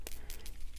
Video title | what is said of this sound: Cardmaking: You Crack Me Up, Fun Stampers Journey | you have to shake it up pretty good and hear that little BB going in there until you get it all mixed up